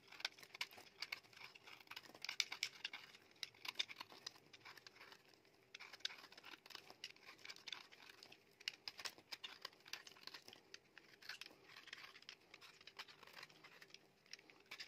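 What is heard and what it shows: A utility knife blade scrapes and shaves the surface of a solid, dry beige soap bar held in the palm, carving off thin curls. Quiet, bright, crisp scratching and crackling comes in dense bursts of short, sharp ticks with almost no low end, over a faint steady hum.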